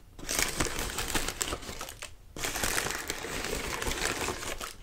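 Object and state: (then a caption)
Tissue paper lantern being crinkled. Fingers grip, rub and scrunch the thin paper of a large, hollow, partly opened lime-green tissue paper lantern with a ribbed wire frame. The result is dense, bright crinkling and rustling that runs almost continuously, dropping out briefly near the middle before resuming.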